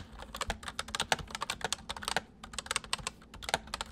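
Fingertips of both hands type on a white full-size MSI plastic mechanical keyboard with hollow keys. It makes a rapid, uneven stream of sharp, bright clacks that die away almost instantly, with a brief pause in the middle.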